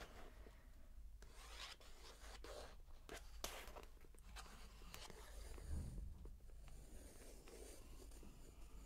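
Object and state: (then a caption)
Paper book page being traced. The tip of a wooden stick or pencil, held in the fingers, traces across a glossy paper page of a large open paperback picture book lying on carpet. It makes a quiet, light scratching and rubbing sound. Brief bright strokes stand over a steady low rumble.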